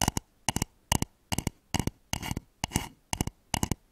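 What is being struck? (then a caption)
Wooden bowl. Fingernails tap and scratch the outer wall of a hollow, polished wooden bowl turned upside down over microphones. Quick clusters of two or three dry, hollow knocks repeat about every half second, each dying away almost instantly, with a couple of brief raspy scratching passages between them.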